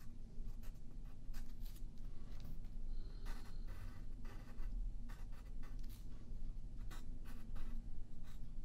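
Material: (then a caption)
Paper. A yellow pencil draws short strokes across a thin white paper sheet lying flat on a wooden table, while the other hand holds the paper still. It produces quiet, dry scratching bursts with bright hissy edges over a steady low hum.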